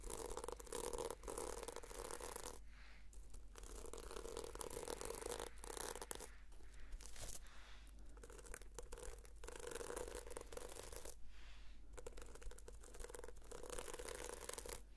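Fingernails scratch and brush across the sequins of a red sequin-covered notebook held upright. The result is a quiet, continuous dry rasping and scraping texture with a faint low rumble underneath and a few short pauses between strokes.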